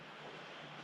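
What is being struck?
Nothing is struck.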